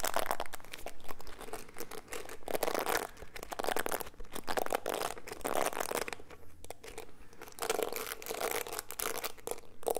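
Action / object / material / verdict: scrape / plastic bristle hairbrush / plastic / none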